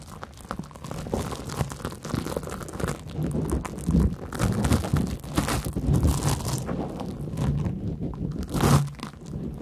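A large, porous yellow cellulose sponge resting on microphone foam is scratched with long nails and squeezed by fingertips. It produces a dense, continuous run of crunchy, crinkling scrapes with a heavy low-end body. Louder squeezing bursts come around 4, 6 and 8.7 seconds.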